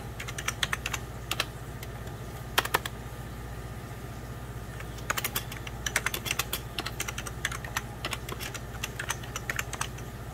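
Both hands' fingertips type on a hollow, beige 1990s Packard Bell plastic computer keyboard, producing bursts of quick, bright, clicky key taps. The taps come in irregular clusters over a steady low hum.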